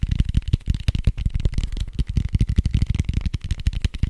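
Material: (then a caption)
Foam. A large red foam die with white dots, made of soft foam, is held beside the microphone and scratched and tapped fast with fingertips and nails. The result is a rapid, continuous run of dull, low, muffled thumps and scratchy rustles with almost no ring. The bursts are packed too closely to count.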